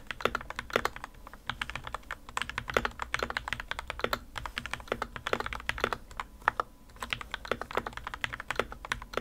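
Two hands type continuously with their fingertips on the plastic keycaps of a modded white plastic RK61 60% mechanical keyboard resting on a desk mat. The result is a steady run of short, crisp clacks, each dying away almost instantly. They are centered in the midrange with some bright edge and little low-end body.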